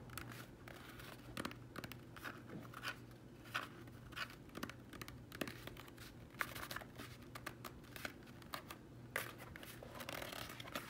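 Bare fingertips rub and tap the outer shell of a hard plastic baseball batting helmet, a hollow shell with a matte black finish, while turning it in the hands. Quiet scratchy rubbing is broken by many short, dry, bright taps that die away almost instantly, over a faint steady low hum.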